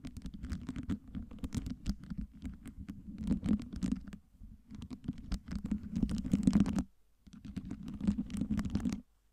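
Long nails rapidly tap and scratch the faces of a tower of small clear acrylic fake ice cubes with LED lights, stacked over a round base. The result is a dense run of dry, clicky plastic ticks and scrapes over a low, hollow body, with short pauses near 4 and 7 seconds before it stops just after 9 seconds.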